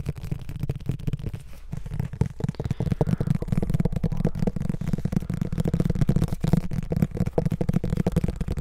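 A hand-sized, solid paperback Harry Potter book with a glossy card cover is held close to the mic and tapped and handled with the fingertips. The result is a fast, steady run of dull, dry, low thumps and soft rustling with no ring, most of the sound sitting in the low range, with possible faint whispering underneath.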